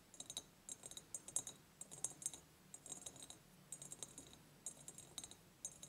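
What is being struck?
Ribbed glass jar.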